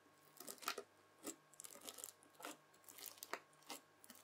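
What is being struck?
Lump of bubbly slime stabbed with a plastic fork.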